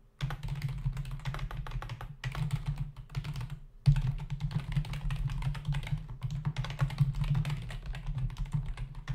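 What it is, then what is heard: Plastic computer keyboard. Both hands type with their fingertips on a black plastic membrane computer keyboard with plastic keys and a hollow body, resting on a desk. Dense, rapid key clatter runs throughout, over a steady low hum. The typing briefly pauses near the two- and four-second marks.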